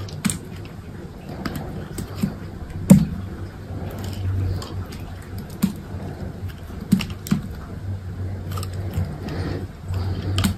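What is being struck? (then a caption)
Bar of soap cut with a metal knife. A metal knife with an orange handle cuts a small, solid green soap bar into cubes and thin slices. Crisp cutting and scraping strokes come as short, sharp clicks with bright tops, with a few louder cuts, over a steady low hum.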